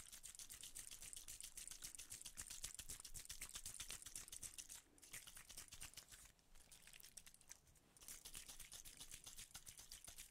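A small, hollow, silver aluminium cylindrical tube container, held in one hand close to the microphones, is tapped and clicked with fingertips and nails. The result is a rapid, fairly irregular stream of bright, short clicks with a soft low thump beneath them, like fast keyboard typing. The tapping briefly quiets around the middle before picking back up.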